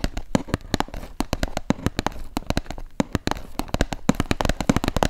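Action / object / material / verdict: tap / cardboard retail box / cardboard / none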